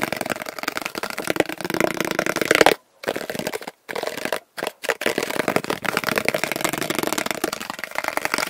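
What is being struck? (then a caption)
Small hollow plastic box. A small, open, hollow blue plastic storage box is held in both hands and tapped and scratched with fingertips and nails. The result is a dense, fast stream of dry, crackling taps and scrapes, broken by a few brief silent gaps.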